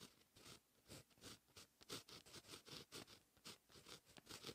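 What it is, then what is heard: Pen writing on a paper notebook page. A fine-tip pen writes Korean handwriting on a lined white paper notebook page. The pen tip scratches across the paper in short, quiet strokes, making a bright, papery rasp with brief pauses between bursts.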